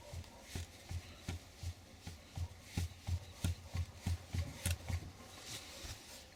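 A worn shock absorber from the front suspension of a GAZ Gazelle van is worked by hand, and its outer tube and inner rod knock against each other. The result is a steady series of dull, low thuds, about three per second. This internal knock is the suspension noise that gets mistaken for worn kingpins, which replacing the kingpins did not cure.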